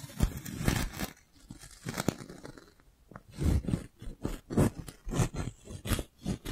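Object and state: Plastic balloon bubble being rubbed.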